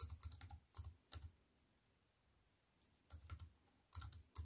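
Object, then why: Slim keyboard with aluminium frame and plastic keys. Fingertips with long white-painted nails type on a slim wireless keyboard with a silver aluminium frame and black plastic chiclet keys, resting on a wooden table. Quick clusters of short key taps combine a soft low thump with bright clicks, each dying away almost at once. A long quiet pause in the middle separates the bursts of typing.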